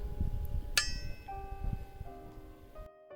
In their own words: i've never used a sword that rings so clearly when i execute a cut well and when i flick it well listen for yourself